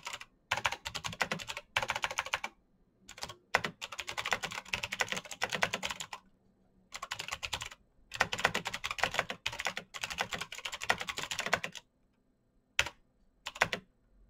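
Fingertips type steadily on a black plastic mechanical keyboard with clicky switches. Rapid, bright, dry clicks come in bursts of a second or more, separated by short silent pauses, ending with a few brief taps.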